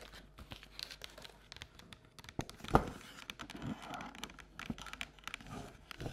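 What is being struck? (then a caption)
Paper or cardboard treat bucket. Long nails tap and scratch the outer printed wall of an empty, hollow paper or cardboard Halloween treat bucket with a jack-o'-lantern print, held in both hands. A quick run of light, dry taps and papery scratches crinkles along, with one sharper, louder tap partway through. The close-up sound is soft and mostly low-mid with bright clicky edges and almost no ring.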